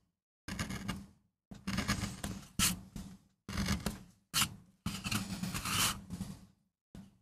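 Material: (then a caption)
MDF. A wooden-handled steel gouge scrapes grooves into a small, flat, solid MDF relief block carved with a rose, while a hand braces the board. The result is a series of rough, gritty scraping strokes separated by short silences, with a bright, hissy edge over a steady low body. A few strokes start with sharper, brighter bites.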